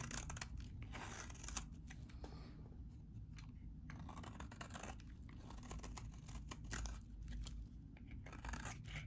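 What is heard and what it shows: A metal utility blade scrapes and cuts crumbly flakes off a solid, hand-sized yellow bar of very dry vintage soap. The result is a steady run of dry, crisp scraping and crackling with brighter bursts, over a low, muffled rumble.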